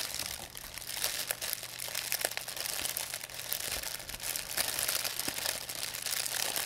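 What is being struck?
Thin plastic bag.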